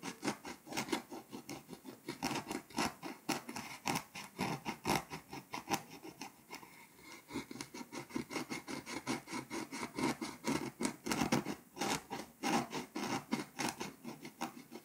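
A scraper tool scratches the foil coating off Hungary on a flat, foil-coated paper scratch-off map, leaving flakes around it. Rapid, repeated rasping strokes sound dry and papery, with bright edges and a body in the low mids. The strokes ease briefly around the middle, then resume at a steady rhythm.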